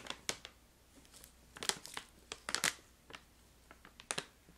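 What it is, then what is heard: Crinkling plastic pouch of crystallized ginger. A filled brown-red plastic pouch of crystallized ginger is crinkled and squeezed with long nails. Sharp, bright crinkling bursts come in irregular clusters over a near-silent background, each dying away almost instantly.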